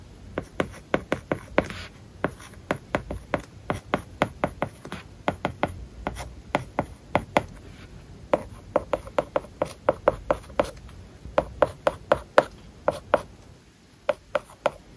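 A plastic stylus tip writes Japanese characters on a large iPad whose glass screen is covered with a matte plastic paper-like film. About 46 short, dry taps and scratchy strokes sound in quick succession, each with a faint tone near 590 Hz that dies away almost instantly over a quiet background.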